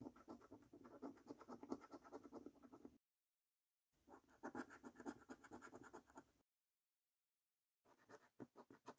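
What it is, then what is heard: Scratch card coating being scraped. A coin scratches the latex coating off a thin, flat paper National Lottery "£1 Million Snack Stack" scratch card. Quick, dry rasping strokes come in three bursts separated by silence, rough and gritty in the mids with a faint bright hiss. Each stroke stops dead with no ring.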